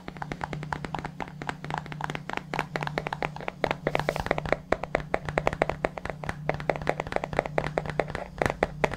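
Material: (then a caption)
Plastic. Fingertips tap rapidly and steadily on the bottom and sides of a hollow white plastic supplement tub held sideways near the mic. The taps are short, dry and hollow with a mid-pitched knock that dies almost at once, over a faint steady low hum.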